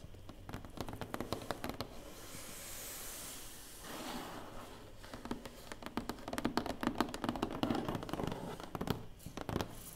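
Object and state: Cardboard box, hollow.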